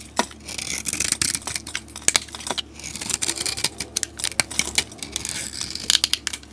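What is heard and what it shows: A utility blade shaves a solid green soap bar with a white stamped top layer, and curls fall away. Dry, crisp scraping and crackling fill the clip, broken by sharp, bright snaps as the blade cuts through. The sound has almost no low end and stops short with no ring.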